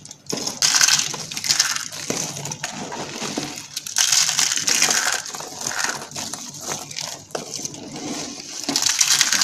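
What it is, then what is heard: Dry soap curls crushed. Pink and cream dry soap curls are crushed between fingertips and long dark nails into small flakes on a mat. The result is a dense, continuous stream of dry, bright crackling and crunching with almost no low end, rising and falling in short bursts as the curls break apart.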